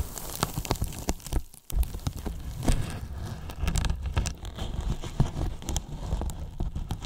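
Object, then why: Polyethylene foam box. Fingertips and palms press, rub and scratch the top and sides of a large, hollow white polyethylene foam box. This makes a dense, crackly patter of squeaks and scratches over a deep, hollow thumping. A short quiet gap falls near the middle of the second second, and then the steady rubbing and tapping carries on to the end.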